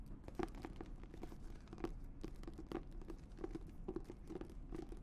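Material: Leather.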